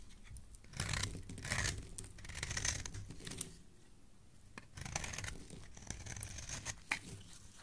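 A solid purple bar of soap, held in the hand, is scraped with a metal blade on a handle, shaving curls off onto the pile below. Bursts of crisp, bright scraping and crackling rise and fade in strokes, with a soft low rumble underneath and quieter gaps between passes.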